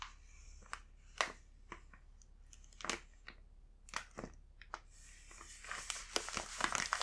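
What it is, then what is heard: Plastic snack bag. A full plastic snack bag is tapped with a fingertip and turned over by hand, giving sharp, bright crinkling snaps separated by short quiet gaps. Near the end, the crinkling thickens into continuous, louder rustling as the bag is handled.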